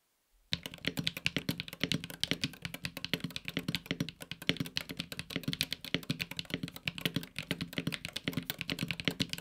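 A 65% mechanical keyboard, the Luminkey Magger68 Pro HE, with a silver aluminum case and grey and red PBT keycaps, is typed on with the fingertips of both hands. Dense, rapid keystrokes begin after about half a second. They produce short, crisp clacks with a bright top end and a solid low thock that die away almost instantly.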